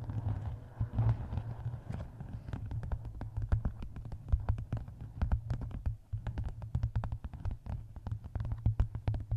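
Long nails tap and scratch across the paper cover of a closed, map-covered hardcover book. A dense, fast run of short, dull taps sits over a steady low thump, with faint scratchy rustle between them.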